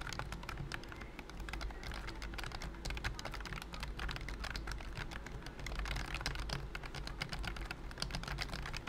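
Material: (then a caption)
Plastic. Fingertips type quickly on a pink and cream BT21 COOKY plastic wireless keyboard with round keys under a thin silicone key skin. The rapid, continuous run of soft, muted taps has a bright click on top, over a steady low hum.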